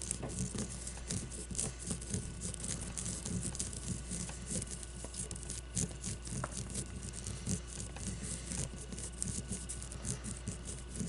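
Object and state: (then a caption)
Leather baseball. Long blue-painted nails tap and scratch a solid leather baseball as it rests on a table and is lifted from it. The result is a continuous, fast patter of soft, dull taps mixed with scratchy rasps, weighted toward low tones, with short, dry hits over a steady low hum.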